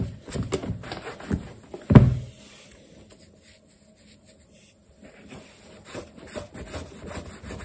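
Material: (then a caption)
Leather. A black leather sneaker with metal eyelets is held toe-up while a yellow cloth over the fingertips rubs across the leather upper. Soft, low rubbing and brushing sounds come in short strokes, with one louder thump near the two-second mark. After a quiet stretch, gentle rubbing returns toward the end.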